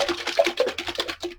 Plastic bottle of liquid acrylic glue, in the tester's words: shake it. You can hear it's very gloopy.